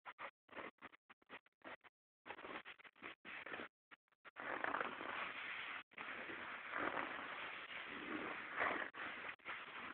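Fingertips and short nails of one hand scratch and rub the light-wash cotton denim of a pair of jeans lying flat, just below the visible back pocket. Quick, separate scratchy strokes come first, then settle into longer, steady rasping rubs with brief pauses. The texture is dry and papery, with no deep low end and no bright top.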